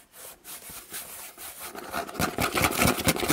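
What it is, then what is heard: Empty cardboard box, hollow. Hands scratch and tap the flat side of a large, empty, hollow corrugated cardboard box held close by. Soft, breathy scratching swells come first, then the sound grows louder and denser, with rapid, bright, papery rasps and short hollow taps over the last second and a half.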